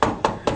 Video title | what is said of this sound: Dell Vostro 3555 AMD Powered Laptop Review | it's actually made of all aluminum so knock on there you can see that there's really no flex anywhere in the body